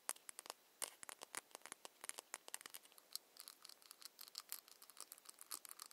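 A small ceramic foundation bottle with a ribbed cap is tapped quickly with long nails. The sound is a rapid run of sharp, dry, high clicks with almost no low end or ring. Many of the taps run close together.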